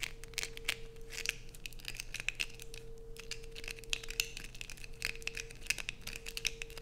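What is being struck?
Bar of soap.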